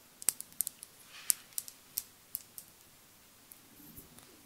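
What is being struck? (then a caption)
Small glass dropper bottle. Long acrylic nails tap a small glass cosmetic foundation bottle with a dropper cap, partly filled with beige liquid. There are eleven light, bright clicks at an uneven pace, each sharp and high-pitched with almost no ring, before the taps fade into quiet.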